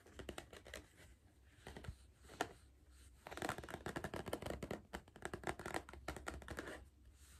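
Fingers tap rapidly on the side of a hollow Pringles cardboard crisp tube with a plastic lid while the tube is repositioned. The result is bursts of short, dry, hollow taps with brief pauses between them, over a faint low hum. The tapping is quiet, and each tap dies away almost instantly.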